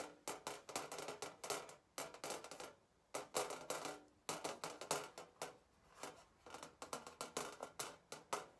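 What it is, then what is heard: Galvanized steel sign tapped with fingernails. Long painted fingernails tap and scratch the back of a flat, thin galvanized steel sign with a wire hanging stand, lying on a white table. Quick bursts of sharp, bright metallic taps and scrapes come in clusters separated by short pauses. Each tap has a brief tinny ring centered around 500 Hz that dies away quickly.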